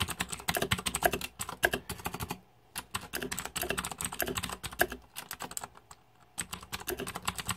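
Fingertips type fast on a backlit Razer 2014 Deathadder mechanical computer keyboard with plastic keycaps and green lighting. Rapid, irregular bursts of sharp, bright plastic clicks and clacks are heard, with brief pauses near the 2.5-second and 6-second marks before the typing resumes.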